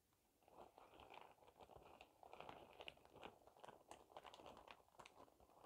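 A clear printed plastic shower cap is spread out by hand and crumpled and crinkled with the palm and fingers. The result is a continuous run of dense, crisp crackles, mostly in the mids with bright edges. Short sharp snaps stand out above a steady rustle.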